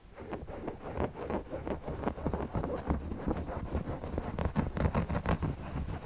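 Fingertips scratch and rub across the front of a large, soft stuffed owl-shaped cushion made of red polka-dot and floral cotton fabric with appliqué eyes. The result is a dense, irregular run of muffled, low-heavy scratching and brushing strokes with little high-end brightness.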